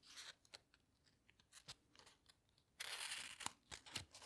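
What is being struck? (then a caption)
Glossy paper pages of a hardcover book. Fingertips rub and turn the glossy paper pages of a large open hardcover book. Soft, bright crinkles and sharp paper ticks come in an uneven series, then a longer, louder rustle as a page sweeps over, followed by more crisp snaps.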